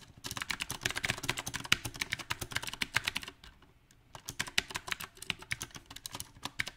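Both hands type with their fingertips on a compact backlit mechanical keyboard with round plastic typewriter-style keycaps. The taps come in a bright, rapid, uneven clatter that pauses briefly in the middle, then resumes in a slightly sparser run of crisp clicks.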